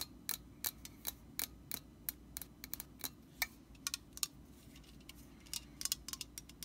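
A hollow, pressurized metal Static Guard aerosol can is held sideways while long painted nails tap and scratch its concave metal bottom, and by the end the side of the can is in view. Many short, bright, dry clicks ring for only a moment over a faint low hum.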